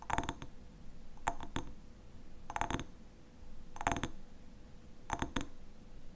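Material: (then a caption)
Glass. A small hexagonal glass jar with a black lid, apparently filled with pale honey, is held in both hands and tapped and scratched on its glass sides with short fingernails and fingertips. Bright, clicky clinks come in short bursts spaced about a second apart, each with a brief glassy ring around 690 Hz over a soft, low rustling background.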